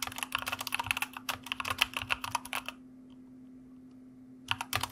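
Fingertips of both hands type continuously on a white plastic mechanical computer keyboard, producing a rapid stream of sharp, bright, clacky keystrokes. The typing pauses for about a second and a half, leaving a faint steady low hum, then the clicks resume briefly at the end.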